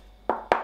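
Two knocks on the plastic enclosure of the head unit of a dB Technologies ES602 column PA system give short, hollow plastic taps centered in the midrange with very brief ring. The enclosure sounds like plastic but is well finished, clean and light.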